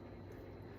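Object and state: Nothing is struck.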